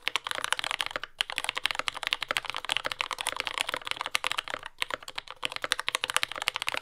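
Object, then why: Mechanical keyboard, plastic keycaps. A compact J-01 mechanical keyboard with lubed Yellow Gateron Ink switches, dark brown plastic keycaps and a carbon fiber plate, resting on a desk mat, is typed on continuously with the fingertips of both hands. Rapid, bright, crisp clacks with very short decay run steadily throughout, with brief pauses around 1.1 and 4.7 seconds and almost no low end.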